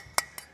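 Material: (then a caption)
Brass. A brass carburettor float from a 1960s supercar, made of two halves soldered together, is handled and gives two light, bright metallic clinks about 0.2 seconds apart. Each clink is high-pitched and dies away almost instantly.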